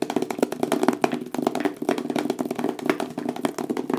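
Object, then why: Small cardboard product box. A small black printed cardboard box with a photo on the front, likely hollow, is held in both hands and tapped and knocked quickly with fingertips and nails. A rapid, uneven stream of dry, short taps and knocks follows, each dying away almost instantly, with a hollow, boxy tone centred in the low-mids around 375 Hz.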